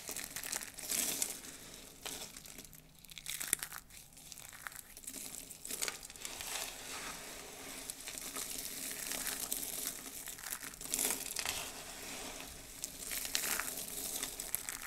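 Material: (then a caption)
Soap. Fingers with long blue nails dig into a heap of brittle pink and white dried soap shavings, squeezing handfuls and scooping the flakes. The crushing makes a dense, continuous stream of dry crinkling and crunching that is mostly bright and high-pitched, with almost no low end. Occasional sharper crackles stand out from the steady rustle.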